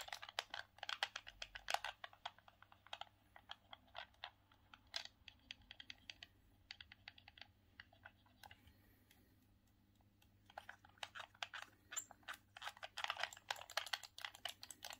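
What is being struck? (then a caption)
Hard plastic handheld game controller. Thumbs press and click the buttons of a grey, hard plastic, hollow Sega Saturn hand-held gamepad, making rapid, short, bright plastic clicks. Dense bursts of clicking at the start thin out to scattered presses in the middle, go nearly quiet for a couple of seconds, then return as fast, busy clicking to the end over a faint low hum.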